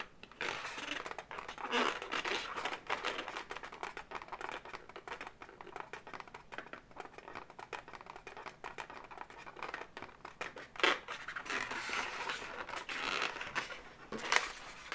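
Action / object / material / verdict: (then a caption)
scrape / twisted latex balloon figure / latex / none. Long natural nails scratch and tap the segments of a blue twisted latex balloon animal, hollow and filled with air. A steady stream of dry, crinkly scratching and squeaky rubbing fills the clip, broken by a few sharper, brighter taps near the end.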